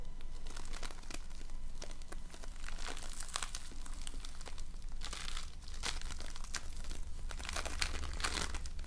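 A soft, solid, fist-sized lump of foam bead slime (floam), a handful of multicolored polystyrene foam beads stuck together in slime, is squeezed and kneaded with fingertips and painted nails. It gives a dense, continuous crinkling and crackling with quick bright pops and clicks, over a steady low hum throughout.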